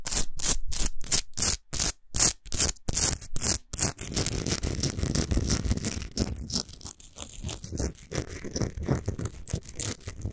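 Long nails scratch fast along the top and sides of a tall, solid Himalayan rock salt lamp. For the first four seconds the strokes come as separate bright, gritty rasps with short silences between them. They then blend into a denser, continuous scraping with a low rumble underneath, which softens toward the end.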